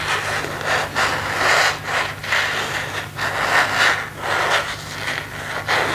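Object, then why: Empty plastic phone case. Fingertips rub and scratch the back and edges of an empty plastic phone case with a marble and leaf print, held in both hands. A steady, bright, scratchy rustling rises and falls in soft swells over a faint low hum.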